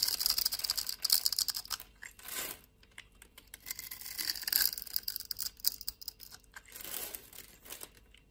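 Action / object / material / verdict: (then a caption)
scrape / bar of soap / soap / none. A blade scrapes grid-scored flakes off a solid white rectangular bar of soap held in the palm. Dense, crisp crackling and scraping bursts come almost entirely in the high, bright range, with short quiet gaps between strokes.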